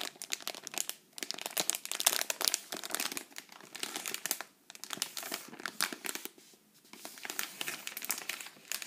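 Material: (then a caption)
Foil-lined plastic. A sealed green Pepero inner wrapper made of foil-lined plastic, holding stick snacks, is squeezed and crinkled between the fingertips and long nails of both hands. Rapid, dense, bright crinkling and crackling comes in bursts, with short quieter pauses near 1, 4.6 and 6.5 seconds.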